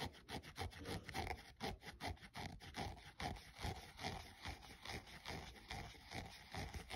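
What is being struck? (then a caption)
Synthetic sneaker upper and rubber sole. A thumbnail rubs and scratches along the synthetic side panel and the rubber/foam sole edge of a grey running shoe. The result is a quiet, steady run of quick, uneven scratchy strokes, about two or three per second, with dry, brushy texture and a soft low rumble beneath.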